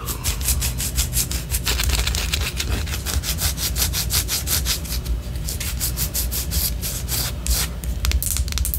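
Long orange nails scratch a white solid wax pillar candle held upright, making a rapid run of bright, dry rasping strokes. A steady low rumble sits beneath the scratching throughout.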